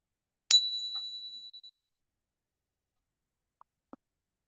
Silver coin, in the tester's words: that rang for a long time it tells me it's 90 silver